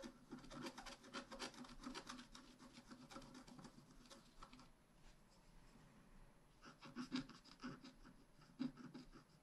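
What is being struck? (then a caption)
Black-coated scratch art paper card scratched with a wooden stylus. A wooden stylus scratches across a thin, flat, black-coated scratch art card, producing a quiet run of dry, rasping strokes with bright, papery texture. The scratching thins out to a soft hush midway, then resumes with a few sharper strokes near the end.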